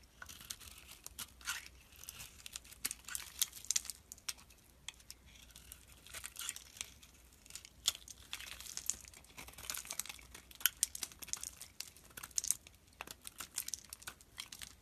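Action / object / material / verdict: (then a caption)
scrape / soap bar scraped with a steel blade / soap / none. A solid green rectangular bar of soap, held in the hand, is scraped into chips with a steel utility knife blade. Quiet, dry, crisp scraping and crackling come in rapid irregular bursts, bright and hissy with almost no low end, each chip snapping off with a sharp, short click.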